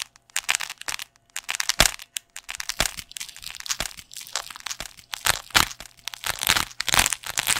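Fingertips scratch and squeeze the surface of a thick, black, foam-backed neoprene fabric piece shaped like a hollow sleeve, held upright beside the microphone in one hand. The result is a dense, irregular run of bright, crackly scratching and crinkling bursts with very little low end, separated by brief silences.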